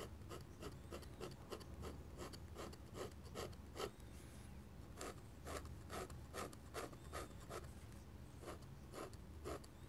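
A metal pen nib scratches thick drawing paper lying flat in short, dense hatching strokes, making about two dozen quiet, raspy scrapes at a brisk, uneven pace. There is a brief pause near the middle, with a steady low rumble underneath.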